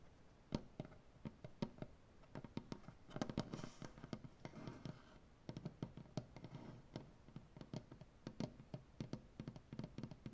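Fingernails from both hands tap and click against a solid light maple butcher block tabletop in an uneven, fast pattern of short, dry knocks. Each tap dies away almost at once, and a softer scratching wash comes in around the middle of the clip.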